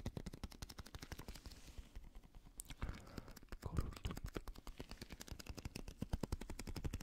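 A small translucent blue squishy stress ball, likely a rubber skin filled with gel beads, is held in one hand while fingertips and nails tap it rapidly. The result is a fast, steady stream of dozens of short, dull, low thuds with almost no ring, plus a brief soft squishing rustle partway through.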